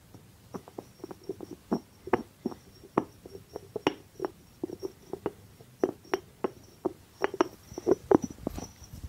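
Fingertips tap and scratch the top of the cork stopper on a small hollow white ceramic jar with a blue rim, held in the hand. About thirty soft, dry taps come in an irregular run, each a short muted knock with a low-mid hollow tone and almost no ring. Faint scratchy brushing fills the gaps between them.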